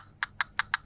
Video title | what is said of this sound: RGB10 Retro Handheld Review - NDS/N64/PSP/DC/PS1 emulation! | it sounds like glass